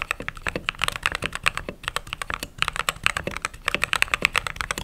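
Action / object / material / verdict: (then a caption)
tap / mechanical keyboard with plastic keycaps / plastic / none. Fingertips type continuously on a mechanical keyboard with white/cream plastic keycaps. About 35 quick, bright plastic clacks come in an uneven run, each short and crisp with very little low end.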